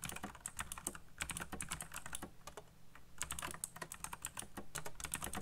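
Fingertips type fast on a backlit black plastic mechanical keyboard with RGB lighting and hollow key switches. A rapid, steady stream of short, bright clacks with a hollow low thump under each keystroke, easing briefly near the middle before speeding up again.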